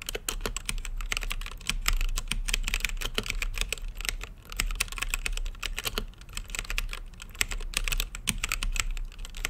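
Fingertips type continuously on a plastic mechanical keyboard with plastic keycaps on a translucent acrylic case. The rapid, uneven stream of short, dry, bright clacks has no ring and sits over a steady low hum.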